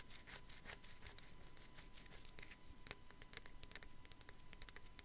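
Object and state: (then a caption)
Ceramic skull figurine scratched with fingernails. Long black nails scratch across the top of a small, hollow, white matte ceramic sugar skull figurine with raised relief. The result is quiet, dry, bright scratching and rasping with quick tapping clicks that grow sharper and more frequent toward the end. A faint steady tone hums underneath.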